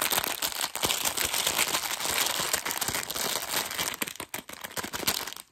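A hand-sized, clear printed plastic film bag full of whole in-shell peanuts is held in both hands and squeezed and scratched with fingertips and short nails. It produces continuous bright, dense crinkling and crackling, with a few brief pauses toward the end.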